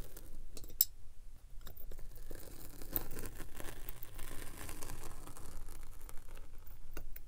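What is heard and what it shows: A steel pinwheel roller is rolled along the front edge and side of a solid purple kinetic sand slab, pricking and scratching the sand. The sound is a steady, quiet, low crunchy scratching with brief bright ticks scattered throughout.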